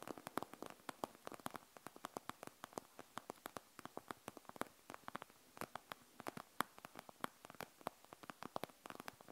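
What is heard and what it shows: Fingernails tap fast and scratch along the gel-bead plastic front of a panda gel bead eye mask resting on a wooden table. It makes a quiet, rapid run of sharp, dry clicks and ticks centred around 1.1 kHz, each dying away almost instantly, with a faint rustling hiss between them.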